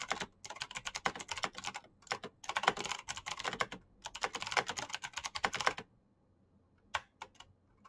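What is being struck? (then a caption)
Mechanical keyboard with plastic keycaps. Both hands type fast with their fingertips on a black Razer mechanical keyboard with plastic keycaps and clicky switches, producing dense bursts of sharp, bright clacks. The rapid typing runs in quick flurries with brief pauses for nearly six seconds, then stops, leaving only a few isolated keystrokes near the end.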